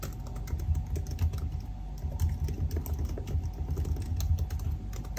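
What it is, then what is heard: Laptop keyboard typing. Fingertips of both hands type continuously on the black plastic keys of a silver aluminium laptop keyboard. A steady stream of soft, quick key taps with a dull, low thump sits over a faint background hiss, with no pauses.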